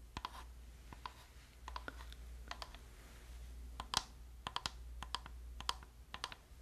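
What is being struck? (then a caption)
Plastic game controller. Long nails and fingertips tap and click the buttons and shell of a hand-sized, hollow, black plastic PlayStation-style gamepad held near the mic. About twenty short, bright plastic clicks and taps come in quick irregular bursts, each dying away almost instantly over a quiet, steady low hum.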